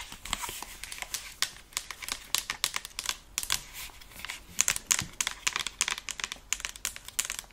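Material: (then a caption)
Plastic. Long acrylic nails tap rapidly on the earcups and headband of a hollow white and black plastic over-ear gaming headset held in both hands. The result is a quiet, irregular stream of short, dry, bright clicks with almost no low end.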